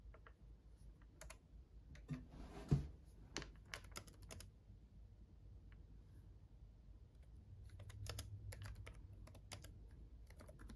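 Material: Plastic.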